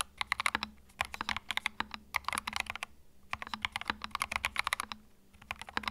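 Fingertips type continuously on a compact white mechanical keyboard with plastic keycaps. Quick runs of sharp, bright clicks come in bursts with brief pauses between them, each keystroke dry and clipped with no ring.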